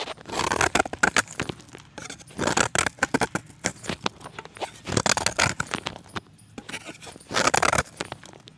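A solid white pressed chalk disc is shaved with a steel box-cutter blade, and flakes crumble off. Dry, bright scraping strokes come in bursts with crisp crackles and clicks, separated by quieter pauses.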